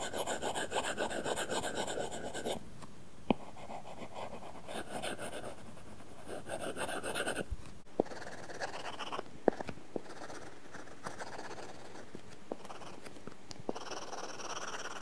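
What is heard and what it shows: A stylus held in the fingers scratches across an iPad glass screen fitted with a matte, paper-feel plastic film in quick, repeated strokes. The sound is a dry, papery rasp that comes in bursts, separated by quieter stretches punctuated by sharp little taps.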